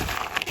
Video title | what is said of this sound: Easy, Healthy Snack Ideas! All Under 5 Ingredients! | you can hear how crispy they are just from me tossing them around in here